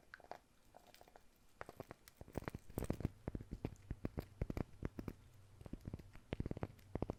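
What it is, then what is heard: Wooden surface tapped with fingers. Fingers tap on a wooden surface as an ASMR trigger, giving quick, dry, low knocks in scattered bursts and irregular clusters. Each tap is short with almost no ring, and the sound stays quiet and dull over a faint background hum.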